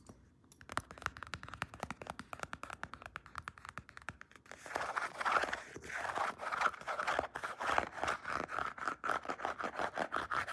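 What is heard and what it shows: Long painted nails scratch and rub a wide black padded faux leather weightlifting belt with white stitching. For about the first four seconds there are quick, quiet, dry scratches. Then the scratching turns louder and denser into a steady, brisk rasping rub with a mid-range tone.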